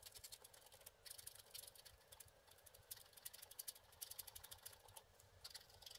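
A wooden stick scratches colored areas free on a flat wax-coated scratch art card lying on a table. Quick, dry, bright scraping strokes come in bursts with short pauses, over a faint low rumble.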